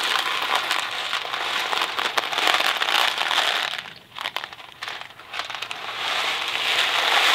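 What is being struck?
Cardboard box of dry pasta.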